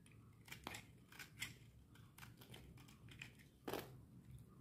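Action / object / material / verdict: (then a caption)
scrape / bar of soap shaved with a metal blade / soap / none. A metal utility knife blade shaves a solid green bar of dry soap held in the hand, and the crumbs fall onto the hands. Dry, scraping cuts come in short bursts with bright, crisp edges over a soft low rustle, with a few louder strokes standing out.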